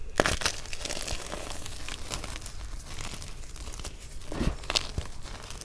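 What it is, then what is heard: Crushed gym chalk pieces. Both hands knead and crush a mound of white gym chalk (magnesium carbonate) powder with small, solid, brittle chunks in a teal plastic basin, working it with fingers and palms. A steady, dry crumbling and crinkling continues throughout, with sharper bright crunches near the start and again toward the end as chunks break down into more powder.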